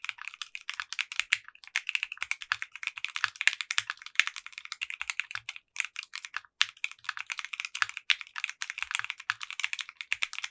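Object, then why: Mechanical keyboard with polycarbonate keycaps. A compact 60% mechanical keyboard with clear pink polycarbonate keycaps and a translucent case is typed on with the fingertips of both hands. The result is a steady, rapid stream of bright, crisp clacks with very short decay and almost no low end, pausing briefly now and then.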